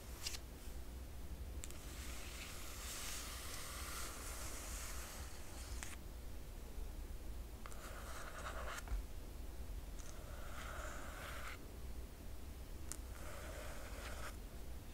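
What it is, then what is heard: Fingernails scratching a glossy paper book jacket. Long fingernails on both hands scratch the glossy paper dust jacket of a large hardcover book lying flat. Several bursts of soft, bright scratching and rustling hiss play over a steady low hum.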